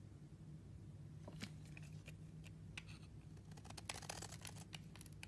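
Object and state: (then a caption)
Dry bar soap being scraped. A metal blade scrapes and chips the dry surface of a green solid bar of soap held in the hand, cutting it into powder and flakes. Short, bright, crisp scraping clicks come in quick bursts that grow denser toward the end, over a steady low hum.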